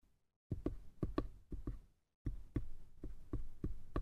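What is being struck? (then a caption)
Small light-wood box. Fingertips tap and scratch the sides of a small, hollow, light-wood box, making quick, dull, low knocks that mostly come in pairs. The knocks die away almost at once and carry a faint scratchy texture. A brief silence falls midway, then a steadier run of taps follows.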